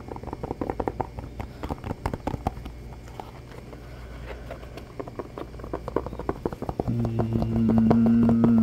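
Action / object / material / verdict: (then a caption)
tap / textured rubber shoe sole / rubber / none. Fingertips quickly tap and scratch the textured rubber sole of a black shoe held in both hands, producing a fast, fairly regular stream of dull, low taps and soft scrapes. Near the end, a steady low droning tone with harmonics comes in under the tapping and the overall level rises.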